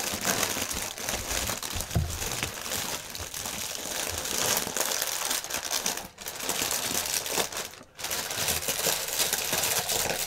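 A clear plastic air-cushion packaging strip is pinched and twisted with one hand while the other presses it, crumpling the thin plastic film. The result is a dense, continuous, bright crinkling with sharp crackles, broken by brief lulls around 6 and 8 seconds.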